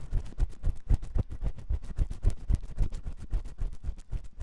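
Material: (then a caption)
Silicone. A metal spiral ear pick scratches inside the ear canal of a white silicone ear on a 3Dio microphone. The result is a rapid, somewhat uneven stream of close, muffled scraping bursts, about four per second, heard mostly as deep low thumps and rumble with faint bright scratchy streaks on top.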